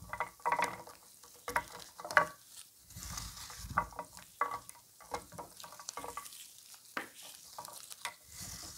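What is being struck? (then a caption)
Pile of soap shavings. A loose pile of thin, dry soap curls and shavings in orange, white and purple is gathered, squeezed and crumbled by hands in blue nitrile gloves, then pressed and rubbed against a wooden board. Irregular dry crackles and crisp crunches come in quick, uneven bursts, with soft rustling between them and a faint bright hiss over the top.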